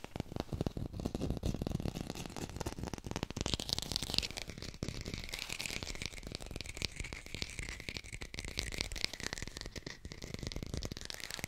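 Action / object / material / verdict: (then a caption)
tap / artificial plastic lemon / plastic / none. A textured artificial plastic lemon is fast-tapped with the fingers and recorded with a hi-fi mic. The result is a dense, continuous run of quick, dry taps with low thumping body and a bright, crinkly, scratchy edge from the textured surface. Each tap dies almost instantly with no ring.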